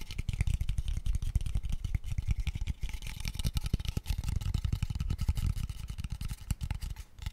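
Fingertips tap rapidly and continuously on a small, empty, hollow, open-ended pale wooden square tube. The result is a dense stream of quick, dull, low knocks with a hollow body and almost no ring after each tap.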